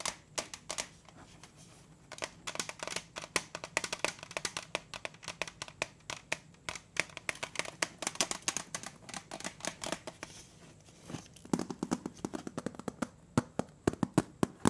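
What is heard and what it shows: Fingertips tap and scratch the lid and bottom of a round, printed metal Danish butter cookie tin, which is held and tilted in the hands and appears closed with contents inside. Many quick, dry, bright taps arrive in irregular bursts, each dying away almost at once. Soft scratching and a faint low hum fill the spaces between them.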